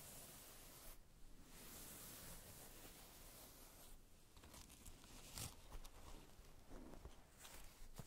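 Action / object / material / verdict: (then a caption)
scrape / plush faux-fur fabric makeup bag / faux fur / none. Long red acrylic nails scratch the furry surface and canvas label tag of a small, soft white plush faux-fur makeup bag with a metal ring, closed and holding items. The result is a quiet, continuous scratchy rustle with a few sharper crackling scrapes toward the end.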